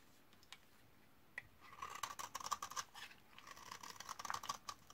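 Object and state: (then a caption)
Dry laundry soap bar. A metal utility-knife blade repeatedly scrapes along the corner of a hand-held, hand-sized solid white laundry soap bar (72%) from 2012, dried for eight years, shaving crumbly flakes onto a pile. After two isolated ticks, dense dry scratchy scraping with a steady mid-pitched rasp and bright crackly edges comes in bursts.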